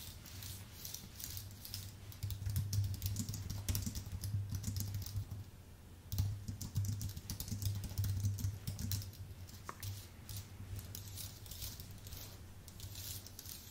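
Fingertips type on a full-size white Apple Magic Keyboard with plastic keycaps on an aluminium base. Quick, uneven bursts of soft clicks and bright key taps ride over a steady low hum, growing busier around the middle and easing toward the end.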